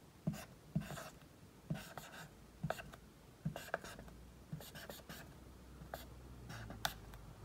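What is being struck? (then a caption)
Felt-tip marker on a whiteboard. A dry-erase marker tip writes the letters I through Q on a large flat whiteboard, rubbing and scratching across the surface. Short, sharp taps as the tip meets the board mark each stroke, followed by brief squeaky, bright rubs in a quiet space.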